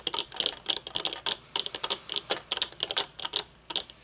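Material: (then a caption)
Metal. Long painted nails tap quickly on the dark lenses and metal frame of folded metal-frame sunglasses resting on a wooden table. A rapid, uneven run of nineteen sharp, dry clicks sounds, bright and thin with a tone near 3.3 kHz and no low end. Each click stops almost instantly, with no ringing.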